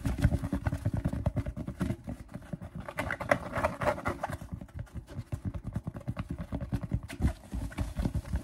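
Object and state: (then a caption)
Fabric snapback cap. Fingertips and nails rapidly scratch and tap a purple and teal fabric snapback baseball cap with a stiff brim, held up in the air. The result is a dense, continuous run of soft, dull taps and brushing scratches, mostly low and muffled with little brightness, each tap dying away almost instantly.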